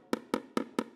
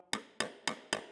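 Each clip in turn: First: sheet metal panel sounding hollow off the dolly. Second: sheet metal panel tapped over the dolly (solid ping).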